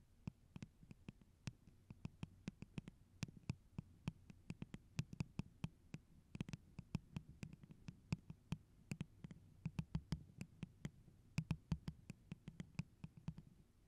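A tall, hollow, empty holographic plastic tumbler cup with a pineapple print, held over the microphone, is tapped and scratched with long orange acrylic nails. A quick, irregular series of sharp, dry clicks ticks out over a soft, low, hollow resonance, with faint scratching between the taps. Each tap dies away almost at once.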